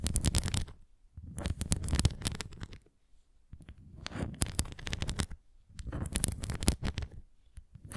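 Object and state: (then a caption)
Plastic ring toy scratched. Fingernails scratch the nubs of a red plastic flying ring toy, then the ring is turned edge-on and its rim is scratched. Three dense bursts of rapid, crackly scratching are separated by short pauses, with a low, rumbly body and bright, gritty clicks on top.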